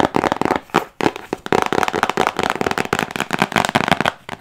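Long acrylic nails tap and scratch quickly over a hand-sized printed cardboard box for an Airome diffuser. The result is a dense run of dry, crackly clicks and scrapes with a bright midrange tone, each sound cutting off almost instantly, broken by brief pauses.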